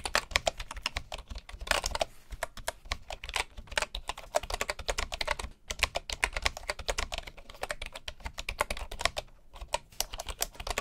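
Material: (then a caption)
Bamboo. Both hands' fingertips type continuously on a full-size light bamboo keyboard with wooden keycaps resting on a dark table. A rapid, steady stream of short, bright wooden clicks and taps is heard, each dying away almost instantly, with a brief lull near the middle.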